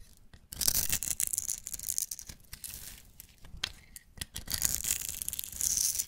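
A metal blade scrapes and shaves the face and edges of a solid pink striped, embossed soap bar held in the hand, producing crumbly shavings. The sound is a dense, bright, crackly scraping made of many short rasping strokes, with quieter gaps between bursts and little low-end weight.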